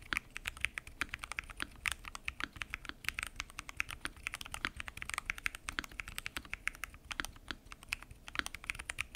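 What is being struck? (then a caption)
Mechanical keyboard with plastic keycaps in an acrylic case. Fingertips type continuously on a full-size mechanical keyboard with lubed switches, pink and mint PBT keycaps and a transparent acrylic case. It makes a steady, fast stream of short, crisp, bright keystroke clacks, each dying away almost instantly over a soft background hiss.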